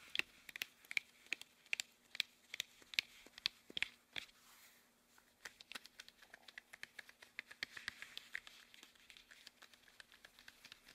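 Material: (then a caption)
Rubber. Hands wearing long, thin, hollow red rubber household gloves rub, squeeze and stretch against each other. Bright, dry squeaks and rubbing crackles come in quick bursts, with sharp, evenly spaced squeaks in the first four seconds. After a brief lull, a denser, softer run of rubbing clicks follows, all quiet with a faint steady low hum underneath.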